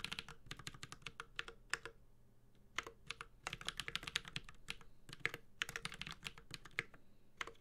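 A Space65 Cybervoyager 65% mechanical keyboard with Holy Panda switches, an aluminum case and ABS keycaps is typed on continuously with the fingertips of both hands. Rapid, bright, sharp clacks with a slight low thock land in quick bursts, with a brief lull around two seconds before the typing picks up again. Each keystroke dies away almost instantly over a faint steady hum.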